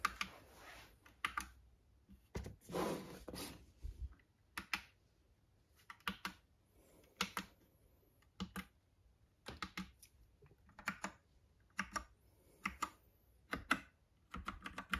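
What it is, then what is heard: Plastic mechanical keyboard. A compact plastic Epomaker Bloodshot mechanical keyboard with retro keycaps sits on a red box while a fingertip taps single keys. The result is a series of short, sharp, bright clicks spaced through the clip, with a brief longer rustling burst near the start and quiet gaps between presses.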